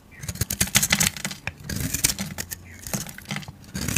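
A metal utility blade scrapes and carves flakes off a solid, rounded, hand-sized soap ball with red and green confetti speckles, held in a hand with long nails. It makes a quick series of crisp, bright scraping strokes with short dry attacks and a faint low hum underneath.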